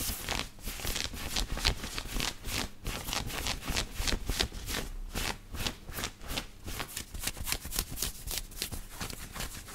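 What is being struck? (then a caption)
Knit cotton t-shirt. Fingertips and nails scratch the chest of a black knit cotton t-shirt worn on the body, making a fast, uneven run of short, dry rasping strokes. Each stroke is bright and scratchy with a soft low rumble beneath, and the strokes keep coming without a break.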